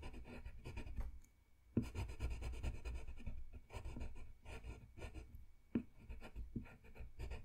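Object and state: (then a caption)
Paper drawing sheet. A red colored pencil scratches and rubs over a thin, solid sheet of flat white drawing paper on a desk in small coloring strokes. The result is a soft, continuous, dry scratching texture, quiet and weighted toward the low end, with a brief pause around one and a half seconds and a couple of sharper ticks as the strokes restart.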